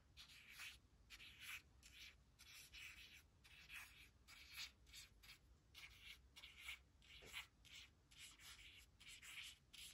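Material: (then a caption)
Laminated card. Long acrylic nails and a thin white plastic stylus trace and scratch the letters on a thin, flat laminated cardstock word strip reading "could not / couldn't," which lies on a woven fabric blanket. About twenty quiet, bright scratching strokes sound in a steady rhythm, each a short dry rasp with almost no low end and no ring.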